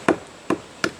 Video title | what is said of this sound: Cut A Leaning Snag | that sounds really dead